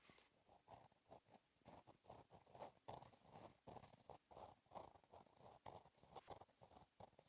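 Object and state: Gel pen writing on a paper notebook page.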